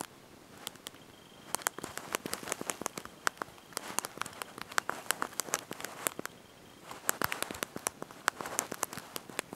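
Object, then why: Small plastic keys of a slide-out phone keyboard. Thumbs and fingertips press and tap the small backlit plastic keys of a handheld slide-out mobile phone's QWERTY keyboard while typing a message. Quick, dry, bright clicks come in irregular bursts with a brief lull near the seventh second, and none of them ring on. A faint steady tone near 3 kHz hums underneath for most of the clip.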